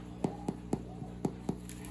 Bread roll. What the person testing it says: that hollow sound is exactly what you want